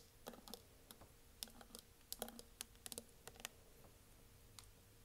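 Long nails tap and scratch along the sides of a tall, clear, green-tinted plastic water bottle with a flip lid, hollow and partly filled with water, held in the hand. The result is a quiet, irregular series of short, sharp, bright clicks with brief scratchy rustles. Each click dies away almost at once over a faint steady hum.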